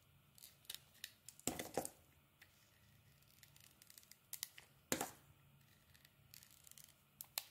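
A metal utility blade scrapes and carves thin shavings off a hand-sized, solid oval bar of pink soap with a grey layer. Short, crisp, bright scraping strokes come at an irregular pace, with a few longer, louder scrapes standing out among the quieter ticks against a faint, steady background.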